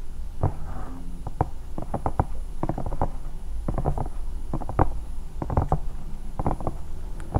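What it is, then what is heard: Silicone night lamp. Long nails on both hands scratch and tap a hollow, bear-shaped silicone night lamp. Quick, dry scratching strokes come in irregular bursts, each a short muffled thump with a dull, low, hollow body and no ring.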